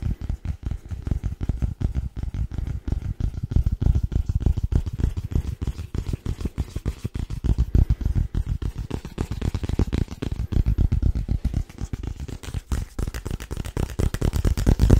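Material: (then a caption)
Paperboard. Fingertips of both hands tap rapidly and continuously on a small, hollow, white rigid paperboard box held upright. The taps are dull, low and hollow, each dying away almost instantly, and they run in a steady, dense patter for the whole clip.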